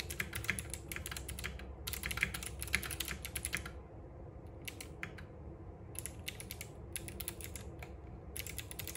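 Both hands type continuously with their fingertips on a compact RGB-backlit mechanical keyboard with plastic keycaps and clicky switches, resting on a wooden desk. Bursts of rapid, bright, crisp clicks come in irregular runs separated by short pauses, over a steady low background hum.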